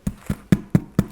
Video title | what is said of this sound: Challah Bread, Easy | you just tap it and you hear that it's hollow